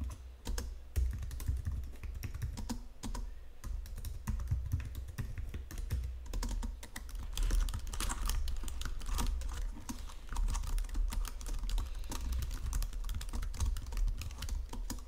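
Fingertips with long nails type continuously on a white plastic Logitech full-size keyboard under green lighting. The dense, bright key clicks and taps run over a steady low hum near 62 Hz for the whole stretch, with no speech.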